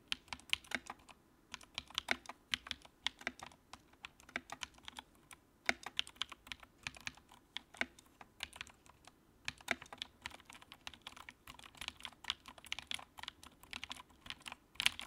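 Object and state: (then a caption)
Plastic mechanical keyboard. Fingertips type on the keycaps of a compact white plastic mechanical keyboard with backlight. The result is a steady, quiet stream of rapid, crisp keystrokes with a bright, clicky character, each one dying away almost instantly, with brief pauses between bursts of typing.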